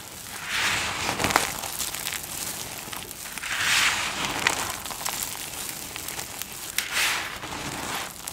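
Flat palms and fingers press down, rub and crunch through a heap of multicolored dry soap flakes on a dark surface. Bright, dense crunching and crackling rises into louder swells about every three seconds, with sharp crisp snaps scattered throughout and little low end.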